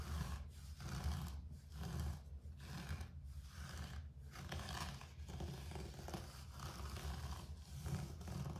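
Fingertips and nails scratch across a low-pile grey carpet floor in repeated, uneven strokes. The sound is a soft, low, rumbling rasp with faint dry scraping on top.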